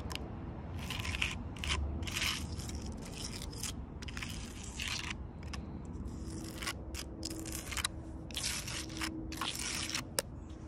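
Long purple nails tap and scratch the rough bark of a large, solid log. The result is a steady run of dry, crackly scrapes and clicky taps in bright bursts over a low, muffled rumble, with a sharper tap standing out near the end.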